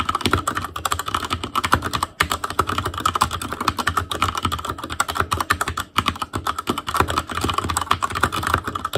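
Fingertips type continuously on an Asus Claymore Core, a backlit mechanical keyboard with plastic keycaps. A steady, dense stream of short, sharp clacks is heard, with a tone centered around 1.3 kHz and brief dips where the typing pauses.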